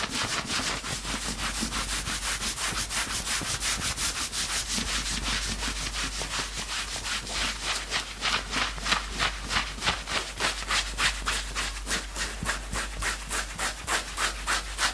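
Fingertips quickly scratch the chest fabric of a worn knit sweatshirt. The result is a fast, steady run of dry, bright, rasping strokes at about three per second, growing more distinct and punchy toward the end.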